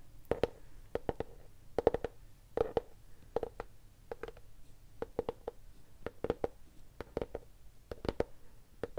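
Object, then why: Cloth-covered hardcover notebook. Long painted nails and fingertips tap and scratch the cover of a large green cloth-covered hardcover notebook held upright, flat and solid. Quick, dry clicks come in small clusters of two to four over a faint low hum, each with a soft mid-pitched knock and almost no ring.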